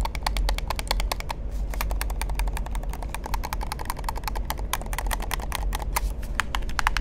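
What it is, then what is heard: Plastic game controller. Fingertips tap quickly and continuously on the shell and buttons of a hollow black plastic gamepad held in the hand. The result is a dense stream of short, dry plastic clicks centred around 1 kHz with bright edges, over a steady low rumble.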